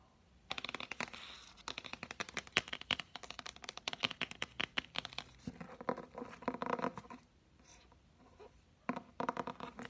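A thick, solid blue hardcover dictionary with a laminated board cover is held in the hand while fingertips and nails tap its edge and front cover. Quick, crisp clicks and scratchy taps come in dense bursts, fall quiet for about a second near the end, then return in a short final flurry.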